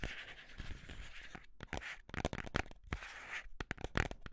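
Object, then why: Small cardboard box. A small, hollow white cardboard box, held in both hands, is scratched and tapped with the fingertips and nails. A steady dry scratching runs for the first second and a half, then gives way to quick, close-up taps and short scrapes. Each tap carries a soft low thump and dies away almost at once.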